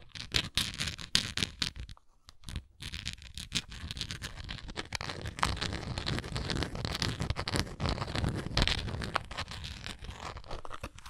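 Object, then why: Textured plastic container. Long nails scratch and tap on a textured plastic Tums antacid container. Dense, bright scratching mixes with quick, sharp taps and a soft low body, broken by a brief near-silent pause around two seconds before the rasping resumes steadily.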